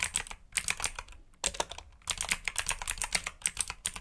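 Fingertips type on a black backlit mechanical keyboard with plastic keycaps, producing quick bursts of bright, clicky keystrokes separated by brief pauses. Each press is a short, sharp tick with almost no ring and little low end.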